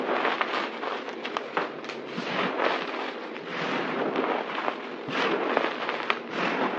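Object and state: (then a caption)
Crumbled dry soap being crunched by hand. Hands grab, squeeze and crunch a pile of white crumbled dry soap powder and chunks on a table with fingertips and palms. A dense, continuous crackling crunch runs throughout, bright and hissy with almost no low end, and small sharper snaps poke out of the steady texture.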